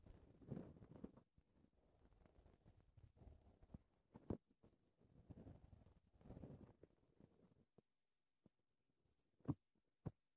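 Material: Foam.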